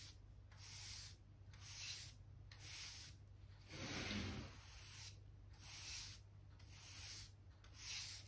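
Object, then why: Pine wooden floorboards. A soft-bristle hand brush sweeps dirt and dust from between solid pale pine floorboards along the skirting. It makes a series of airy, bright swishing strokes, one longer and fuller in the middle, over a steady low hum.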